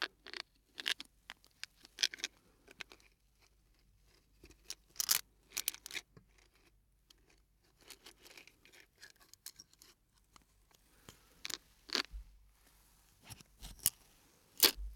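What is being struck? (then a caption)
Hard plastic jar with plastic sticks inside. A small clear hard plastic jar with a blue lid, filled with soft blue plastic sticks, is held in one hand and gently shaken and tapped with fingers and nails. Quiet, bright clicks, crinkly rattles and light scratchy taps come in scattered bursts, each dying away almost instantly, with little low end.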